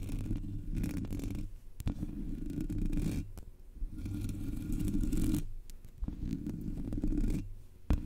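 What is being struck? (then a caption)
Metal mesh microphone grille. Long natural nails on both hands scratch the black metal mesh grille of a Blue Yeti USB microphone, its hollow head bare with no foam cover. The scratching comes in sustained, muffled bursts of low, rumbling friction separated by short pauses, with a few sharp clicks from the nails striking the mesh.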